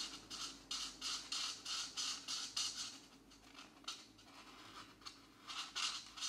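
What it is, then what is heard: Marker scratching on paper. A brush or felt marker tip is rubbed firmly back and forth over a paper coloring book page held flat by one hand. It makes repeated bright, high scratching strokes with a quieter, softer stretch in the middle before the strokes pick up again.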